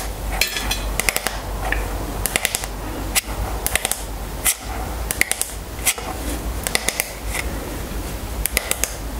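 Long nails tap and scratch the flat wooden back of a striped wooden paddle hairbrush held in the hands. Quick, dry, bright clicks come in short bursts and single taps with almost no ring, over a soft scratching texture and a steady low hum.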